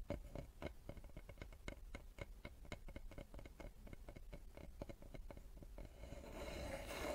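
A solid light-wood cutting board, held upright in both hands, is tapped and scratched on its face and edge with long nails and fingertips. Quick, irregular taps knock with a short, hollow ring around 580 Hz, and in the final second they give way to a brighter, steady scratching rasp.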